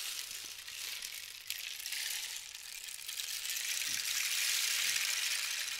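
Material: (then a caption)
Cactus wood. A long, hollow, dried-cactus rain stick with a red band and yellow cords is gripped by hand and turned end over end, so its contents rattle and trickle down the tube. The result is a continuous, bright, rain-like hiss with a fine patter that grows steadily fuller and louder toward the end.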